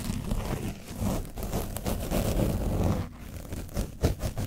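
A foam brush is scrubbed over the top of an orange foam microphone windscreen coated with dried paint. It makes a dense, close, low-heavy scratching and rustling with a boomy rumble. The scrubbing quiets just after the midpoint, then returns as a few sharper, separate strokes near the end.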